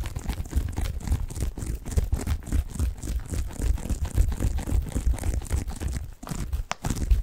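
A medium-sized white bath tub pillow covered in textured plastic mesh, soft, padded and hollow-feeling, is held in both hands and scratched and squeezed with fingertips close to the microphone. The result is a dense, continuous stream of crinkly, crunchy scratches over a heavy, muffled low rumble, with a brief lull near the end before the scratching resumes.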